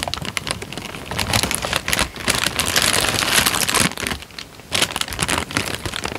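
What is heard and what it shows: A thin, creased, light-brown paper sheet is held in both hands while the fingertips crinkle it. The result is dense, bright crackling that swells to a louder, fuller rustle in the middle, dips briefly, then returns as sharper crinkles.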